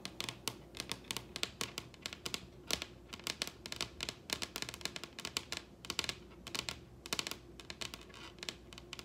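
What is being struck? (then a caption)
Wooden table surface. Long red acrylic nail tips on both hands tap and scratch across the surface of a large solid wooden table. The result is a rapid, irregular run of sharp, bright clicks with almost no ring, interspersed with soft scratching, over a faint steady low hum.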